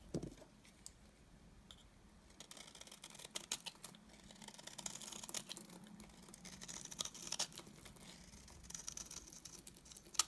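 A yellow-handled utility knife blade scrapes shavings off the face of a solid, dry, cream-colored rounded bar of soap held in the hand. Quiet, bright, scratchy crackling and small dry clicks start sparse, then thicken into a steady crisp rasp with brief louder scrapes, ending on a sharp click.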